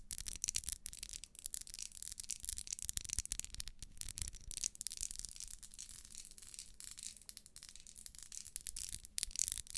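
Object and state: Ribbed wax pillar candle.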